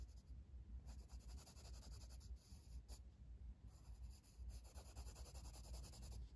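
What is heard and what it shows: A blue wooden colored pencil, held in the fingers, shades with strokes across a flat paper page of a coloring book lying on a table. The quiet sound is a steady, scratchy rubbing with a low rumbly body and faint bright grain, rising and falling with each stroke.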